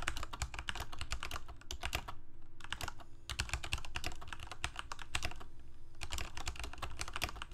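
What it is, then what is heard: Plastic mechanical keyboard. Fingertips of both hands rapidly type on a full-size Corsair mechanical keyboard with plastic keycaps on mechanical switches, a hollow plastic case and blue backlight. Quick bursts of sharp, bright, clacky keystrokes are broken by brief pauses, over a steady low hum.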